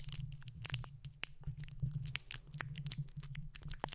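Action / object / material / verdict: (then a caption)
scrape / metal mesh microphone grille / metal mesh / none. Fingertips of both hands scratch and rub the bare, hollow, round metal mesh grille of a condenser microphone. The result is a dense run of short, crunchy, crackling scrapes with bright edges over a steady low, boomy rumble, with no ringing after each touch.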